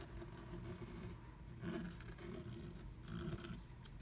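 A pointed wooden stick scratches fast strokes across flat black scratch art paper through a moon-shaped cut-out in a blue plastic stencil, revealing red colour underneath. The sound is a steady, low, rumbling scrape that swells louder in a few bursts, with little high-end content.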